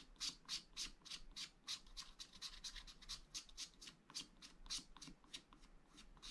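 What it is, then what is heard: Wax-coated scratch art paper. A wooden stylus scratches lines into the lower right area of a black wax-coated scratch art sheet in a flat spiral pad. About two dozen quiet, bright, dry scraping strokes come at an uneven, fairly quick pace, each a short hiss with almost no ring. Faint low rumble sits underneath.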